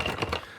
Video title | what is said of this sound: MiniCo Statue - LOBO & DAWG - Unboxing & Review | there's bits loose in it, and one of them's the foot base